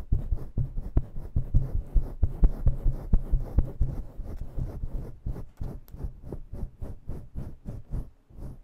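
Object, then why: Synthetic fur microphone windscreen. Long nails scratch and rake a fluffy faux-fur (synthetic-fur) microphone windscreen with both hands in fast motion. The result is a rapid series of muffled, low, deep thumps and rustles, about two per second, with little high-end content and a slightly lighter, sparser stretch toward the end.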